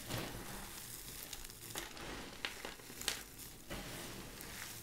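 Bare hands scoop, press and crush a large loose pile of dry, brittle purple and cream vintage soap flakes and chips on a white surface, rubbing them with fingers and palms. A steady, bright, dry crackling and crinkling runs throughout, broken by a few sharper crunches that die away quickly.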